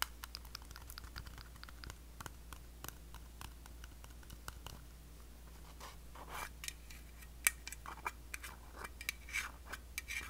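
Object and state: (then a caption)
Small metal cream tin. Long blue acrylic nails tap and scratch the lid and side rim of a small, closed, round blue metal Nivea cream tin. The result is a quiet stream of quick, sharp, bright clicks and scraping strokes with a faint metallic ping around 2.3 kHz, over a steady low hum. One louder tap stands out near the middle of the second half.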